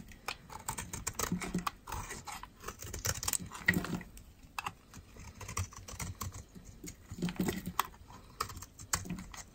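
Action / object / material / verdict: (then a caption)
scrape / bar of soap scraped with a metal blade / soap / none. A metal utility knife blade scrapes and shaves thin flakes off a palm-sized bar of solid white dry soap, held in one hand with long red-painted nails. The result is a rapid series of short, crisp, dry scraping crackles that come in bursts, with a bright papery edge and a soft low thump beneath some strokes.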